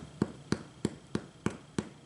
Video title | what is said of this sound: Bread Machine Garlic Wheat Bread - Adapting the Recipe for Stand Mixer | you can hear that sound and that means it should be done